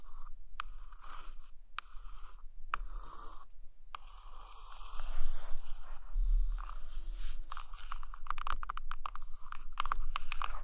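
Long acrylic nails trace across a large hardcover book with a glossy laminated photo cover lying flat, then tap and scratch on it with both hands. Soft, dry scratching broken by brief pauses gives way to denser, slightly louder crunchy taps and scrapes toward the end.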